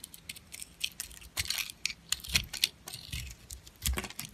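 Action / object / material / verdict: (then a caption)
scrape / bar of glittery soap / soap / none. An oval, solid bar of pink glitter soap with a cream-coloured interior is held in the hand and shaved with a metal blade, producing crunchy curls, while a second blue soap sits nearby untouched. A rapid series of short, bright, crackling scrapes and crunches is heard, with a few heavier thuds among them.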